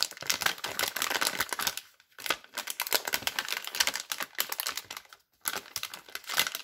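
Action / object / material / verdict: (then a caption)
scrape / plastic film soap wrapper / plastic film / none. Hands with long red nails crinkle and stretch the yellow and blue glossy plastic film wrapper of a multipack of soap bars while handling the pack. The result is dense, bright, crackly crinkling that runs almost continuously, broken by two brief silences.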